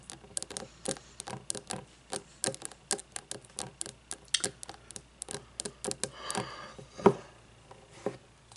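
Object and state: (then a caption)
Wax-filled frosted glass candle jar. A frosted glass candle jar filled with wax, lying on its side, is tapped with long fingernails. About thirty short, dry, clicky taps come in quick, uneven bursts with a faint glassy tone near 400 Hz and almost no ring. A brief, noisier smeared stretch occurs near the end.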